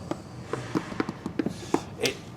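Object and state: Hollow-sounding cracked floor section.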